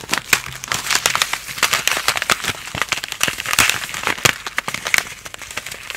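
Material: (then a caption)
Plastic foil. A palm-sized, sealed plastic and foil instant cold compress pack, full of liquid and granules, is held in both hands and crinkled and scratched with long painted nails and fingertips. It makes a dense, bright crinkling and crackling with many quick, sharp snaps and very little low end.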